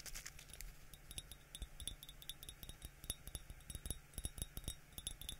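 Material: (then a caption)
Ceramic. An empty yellow glazed ceramic coffee mug with a white interior is held in one hand and tapped on its outer wall with the fingertips of the other hand. A quiet, irregular stream of quick, dry taps plays out, each a soft low knock with a brief bright clink on top that dies away almost at once.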